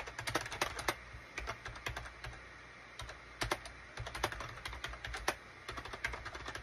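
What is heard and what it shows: Rapid fingertip taps from both hands type on a gray SHIPADOO K600 full-size wired USB keyboard with a gray plastic case and cream, gray and orange plastic keycaps. The keys give bright, short plastic clicks in quick uneven bursts with brief pauses, over a faint steady low hum.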